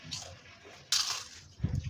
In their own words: পিঠাগুলোর শব্দ শুনেই বুঝতে পারছেন বন্ধুরা পিঠাগুলো কত মচমচে হয়েছে।